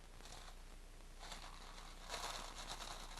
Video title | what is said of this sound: Crazy Quilt - The Noisy Neighbour (RE-UPLOADED) | if you turn it really slowly, Sounds like water. it sounds like the rain